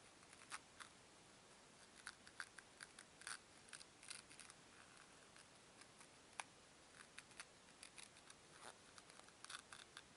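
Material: Foam.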